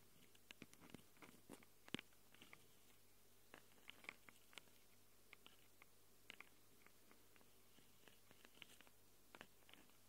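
Long acrylic nails scratch and tap the plastic and metal-rimmed microphone capsules of a small handheld Tascam recorder with a plastic body. The result is a quiet, irregular stream of short, sharp, bright clicks and crackly scrapes over a faint steady low hum.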